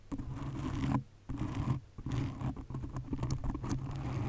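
Long nails scratch and tap on a black foam windscreen covering a condenser microphone. The result is a dense, muffled, low rustling and scraping with soft thumps, with brief quieter gaps near one second and two seconds.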